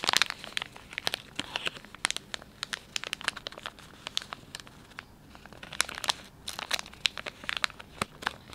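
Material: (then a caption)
Plastic film. Fingers crinkle the soft plastic film of a filled, palm-sized Dettol wet wipes pouch and fold its sealed end. The result is a steady run of sharp, bright crackles and crinkles with very little low end and no lingering ring.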